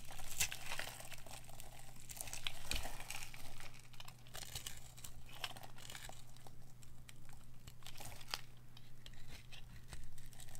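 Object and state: Bar of dry soap being scraped.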